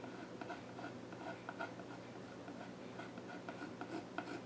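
A pencil tip is drawn across the flat top of a solid, dark-stained wooden child's stool, scratching sketch lines into the wood. Quiet, continuous dry scratching and rubbing is heard, with brief brighter strokes standing out over a faint steady low hum.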